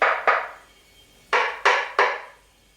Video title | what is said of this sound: COMMENT CHOISIR SES PLATOIRS (DENTELURE, PROFONDEUR ETC..) - MEJIX 🇫🇷 | voyez comment ça sonne creux